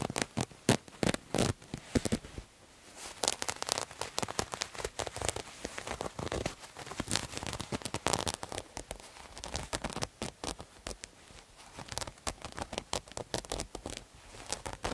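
Fingernails scratch a multicolored striped terry cloth towel, producing dense, dry, crackly rasps in quick irregular bursts. The scratches are broadband and bright, with short strokes that stop almost instantly and brief quieter pauses between flurries.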